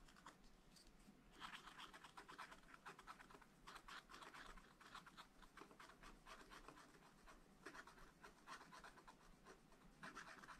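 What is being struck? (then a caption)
Wax-coated scratch-art paper scratched with a wooden stylus. A wooden stylus scratches small areas of a black, wax-coated scratch-art page in a small spiral-bound pad of thin, flat paper. It makes quiet, dense bursts of dry, raspy scraping strokes centered around 1–2 kHz. After a softer first second, the strokes continue in a steady, irregular rhythm.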